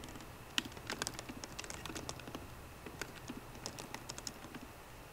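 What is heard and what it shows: Long painted fingernails type quickly with both hands on a 13-inch MacBook Pro keyboard, its low-profile plastic keycaps set in a hollow aluminium case. A steady stream of short, bright clicks and taps with a soft low thud under each keystroke.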